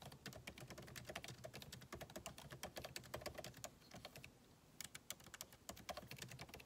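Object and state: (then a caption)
Laptop keyboard with plastic keys. Fingertips of both hands type rapidly on a backlit MacBook Pro keyboard with plastic keycaps in a solid aluminum body resting on a desk. Many short, bright, crisp key clicks come in quick bursts with little ring, separated by a brief pause around the four-second mark.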